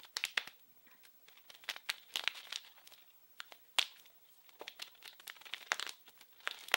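A small blue printed plastic-film wrapped package is crinkled and scratched with fingers. Quiet, bright, crackly bursts come in uneven clusters separated by brief near-silent pauses, with almost no low end and no ring after each crinkle.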